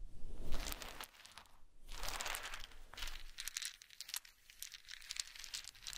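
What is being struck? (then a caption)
Small wooden dowel sticks. Many small wooden dowel sticks on a blanket are gathered, rubbed together and dropped by hand. The result is a dense, irregular rustling clatter of small dry clicks and crinkly scraping, loudest in the first second, then settling into scattered, softer taps.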